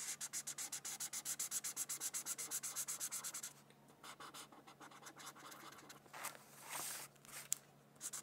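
A felt-tip marker scratches quick back-and-forth strokes across a thin white paper sheet resting on a book, filling in red petals. A steady run of bright, hissy strokes lasts about three and a half seconds, then gives way to quieter, slower, uneven scratches and a few longer rubbing passes.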